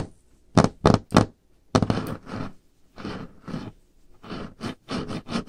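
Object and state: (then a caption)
Solid wooden tabletop. Long painted nails tap and knock on a solid varnished wooden tabletop, with some light scraping. Three sharp, dry taps are followed by longer, rougher scratchy strokes in an uneven rhythm, each with a low, woody body and a brief bright edge.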